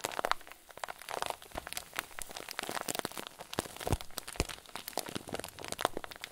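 A clear zip-lock plastic bag full of white fluffy filling is squeezed and crinkled with both hands. It gives a dense run of sharp, bright crackles and crunching crinkles in uneven bursts, with a few louder snaps, and no steady tone.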